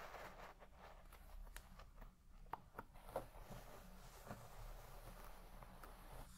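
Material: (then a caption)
Textile. A wooden hairbrush with wooden pins is drawn through the deep pile of a large red shag carpet while the other hand rests flat on it. The result is quiet, soft rustling and scratching of the fibres over a low, steady hum, with a few short, sharper ticks breaking through along the way.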